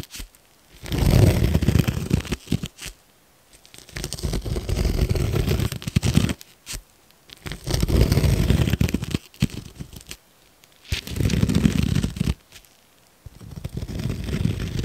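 A metal fork held in a gloved hand scratches and pokes the top of a large yellow foam sponge that is frozen solid and lying on a wooden cutting board. Bursts of dense, low, crunchy scraping alternate with short pauses of near silence. The sound is gritty and crackling, with quick scratches packed close together.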